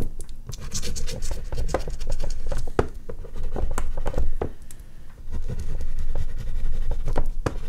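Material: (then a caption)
Paper. An oil pastel stick held in the fingers is rubbed and stroked across a large sheet of artist's paper mounted on a flat, solid dark board. The result is a steady run of dry, gritty scratching strokes with quick, close-sounding attacks and a dull, low body, swelling and easing as the strokes change.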